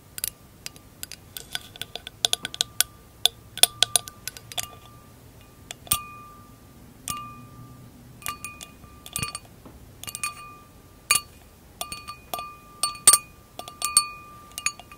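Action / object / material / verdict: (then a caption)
tap / glass wine glass / glass / none. Long acrylic nails tap and clink on the hollow, thin-walled bowl of an empty glass wine glass. The result is a rapid, irregular stream of sharp, bright clicks, some of which leave a brief glassy ring near 1.2 kHz along with higher overtones, over a quiet background.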